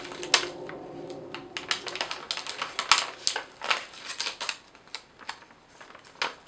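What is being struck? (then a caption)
Thin lined paper sheets. A few sheets of thin yellow lined legal paper are held in both hands and bent, crumpled and crinkled with fingertips and long nails. The result is an irregular run of sharp, dry, bright crackles and rustles that stop almost instantly, with little low end.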